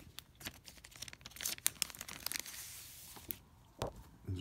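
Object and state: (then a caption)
Plastic sheet protector rubbed. Fingertips touch and rub the surface of a thin, clear plastic binder sleeve holding a large forest-and-stream postage stamp sheet lying flat inside. The result is quiet, bright crinkling with quick, sharp snaps and a brief hissy rustle, then a few soft, duller rubs at the end.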